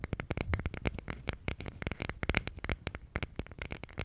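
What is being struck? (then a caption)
Thin plywood box. Long pink nails scratch and tap along the wood grain of a small, thin plywood box or panel held in front of the microphone with both hands. A quick, irregular run of short, dry clicks and scrapes follows, with a low woody knock under bright crackly edges. Each tap dies away almost instantly.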